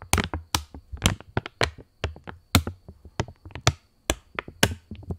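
A £20 polymer plastic banknote is held in both hands while fingers flick, bend and snap the thin plastic film. About fifteen sharp, quickly fading snaps and crackles are heard, each with a low thump under a bright, papery crinkle.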